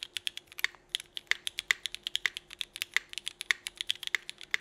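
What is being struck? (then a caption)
Mechanical keyboard with plastic keycaps. Both hands type steadily with their fingertips on a 65% mechanical keyboard with Cherry Vintage Black switches, an aluminum plate, and red-and-black GMK Burgundy ABS plastic keycaps. About 33 quick, bright keystrokes clack in an uneven rhythm, each dying away almost instantly, with a faint steady low hum underneath.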